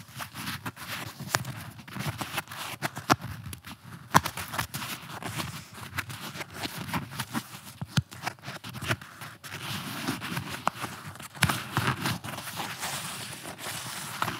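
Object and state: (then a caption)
Nylon-covered flexible armor plate. A blue, torso-sized, nylon-covered flexible armor plate is held against the chest and scratched and rubbed with the fingertips and nails along its top edge and fabric surface. The result is a steady, close, dry scraping and rustling, punctuated by many quick, sharp scratch clicks that stop almost instantly.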